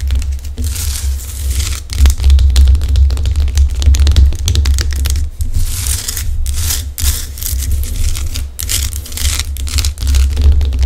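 Long decorated acrylic nails scratch and tap the rough crystalline surface of a large, solid pink-orange Himalayan rock salt lamp held in both hands. Dense, gritty scraping mixes with quick, dry taps in an uneven rhythm, over a steady low hum throughout.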